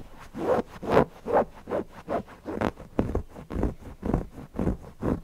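Fingernails scratch the cotton fabric around the eyes and beak of a stuffed cotton owl cushion. About thirteen soft, rasping strokes follow at an uneven pace of roughly two per second. Each stroke is a brief, muffled scrape with a dull midrange body and little brightness.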